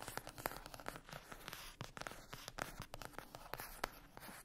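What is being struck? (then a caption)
Cardboard palette lid. Long acrylic nails scratch and tap the lid of a flat rectangular cardboard eyeshadow palette with a printed glossy cover, lying on a fluffy mat. Quick, dry clicks are heard over a continuous papery scratching, each tap dying away almost at once.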